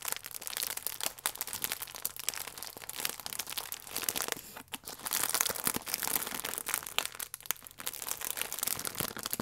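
A printed plastic film pack with a croissant inside is crinkled and squeezed with fingertips, then tilted. Dense, bright crackling and crinkling runs throughout with sharp, dry snaps and little low end. It eases briefly around the middle and again near the end before picking back up.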